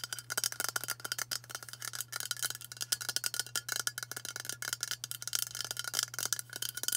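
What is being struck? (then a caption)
Aluminium aerosol spray can. A hand-sized, hollow White Dove aluminium aerosol spray deodorant can, held in both hands, is tapped fast with long matte burgundy nails. The result is a quick, uneven stream of bright, clicky metallic taps with a very short ring, over a faint steady low hum.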